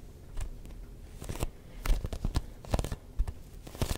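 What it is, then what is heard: Textured rubber ball, tapped. Fingertips tap a neon yellow-green hollow rubber ball with a textured surface, making soft, sticky taps. The taps come in an irregular rhythm, each a short, dull, low-heavy pop with a faint crackly peel as the fingers lift, and they die away almost at once.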